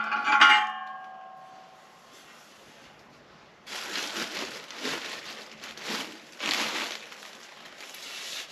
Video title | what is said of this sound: Fitting a vintage speed exhaust. | whether you can hear something loose inside. Can't hear anything.